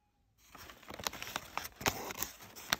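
Fingertips with short, light nails brush and scratch across the folds of a pile of crumpled brown kraft packing paper strips. After a brief silence, a steady, bright crinkling begins, broken by sharper crackles. The sound has very little low end.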